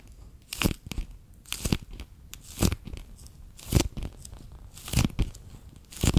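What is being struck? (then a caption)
Clear PVC pouch filled with water beads. A handheld, bear-shaped clear PVC pouch full of water beads is squeezed and crinkled between fingers and nails along its edge and ears. It makes repeated, irregular bursts of crinkly, tearing-like crackle with a soft, low squishy thump under each, and bright plastic rustle on top. Quiet, faintly crackling pauses separate the bursts.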